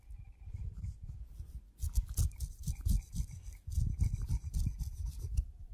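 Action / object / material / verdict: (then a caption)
scrape / kiwi fruit skin / fruit skin / none. A steel razor blade scrapes the hairy brown skin of a whole kiwi fruit held between the fingertips, and fuzz gathers on the blade. Soft, dull rasping strokes come in quick bursts, with short pauses between the three runs of scraping.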